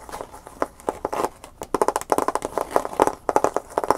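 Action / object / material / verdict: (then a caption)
tap / clear plastic blister pack / plastic / none. A clear plastic blister package holding a USB flash drive is held up in the hands and tapped with the fingernails. A rapid series of short, crisp clicky taps comes in uneven bursts, centered in the midrange around 850 Hz, with almost no low-end body and each tap dying away instantly.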